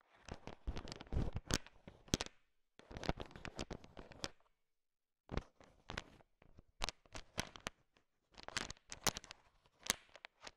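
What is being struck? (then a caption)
Bowl of sugar-shelled peanut chocolates. A heap of small, hard, sugar-shelled peanut M&Ms filling a bowl is stirred and tapped with a thin wooden stick, mixing them. Bursts of dry rattling and crunchy clicks come in four clusters separated by short silences, with bright, sharp transients over a low rumble.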